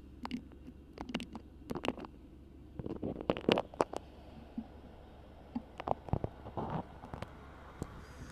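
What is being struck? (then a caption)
Beeswax-coated cotton food wrap. A cream printed beeswax-coated cotton food wrap, wrapped over the microphone, is gripped, crinkled and scratched by long pink nails. Short, irregular bursts of waxy crinkling and scratching, some reaching bright upper tones, stand out over a quiet, steady low hum. They come in close clusters separated by brief lulls.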